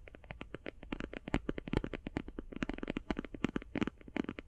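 Long painted fingernails tap fast on a closed, flat, rectangular, hand-sized cardboard eyeshadow palette. The result is a rapid, uneven run of dull, hollow clicks with a low-mid body and very little bright content. Each tap dies away almost instantly.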